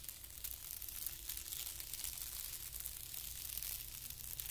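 A flat, thin white tissue paper sheet lying on carpet is scratched with a fingertip, then rubbed by both hands with the fingertips. It gives a quiet, continuous, bright crinkling and rustling hiss with steady faint low hum beneath.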